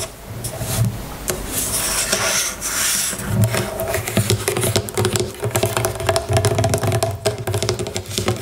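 Long nails scratch and tap the label and body of a small, full plastic bottle of jojoba oil lying on its side. A dry, hissy scratching fills the first few seconds. It gives way to quick, irregular clicky taps with a hollow, low thump and a faint mid-pitched ring.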